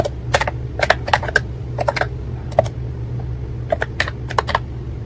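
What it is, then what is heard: Plastic keyboard with round keycaps. Fingertips type on the round keycaps of a white and pink plastic ACTTO wireless keyboard, making short, dry clacks in quick, irregular bursts with brief pauses between them. Each keystroke is a sharp tap with almost no ring, set over a steady low hum.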